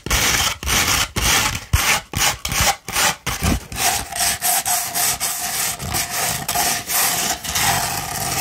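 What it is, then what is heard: Sandpaper scratched. A rolled sandpaper tube held upright is scratched with long pointed nails in about eighteen short, gritty strokes at an uneven rhythm. Each stroke is a bright, dry rasp with a faint low thump underneath, and the strokes run close together with brief gaps between them.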